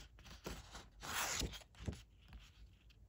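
A single thin red origami paper sheet with a diamond emboss pattern, about 15 cm square, flat and solid, is held in both hands and handled and rubbed with the fingertips. It makes soft, crinkly rustling and scraping with a bright, airy hiss, swelling to a louder sustained crackle in the middle. A sharp crinkle follows, then quieter rustles as the handling continues.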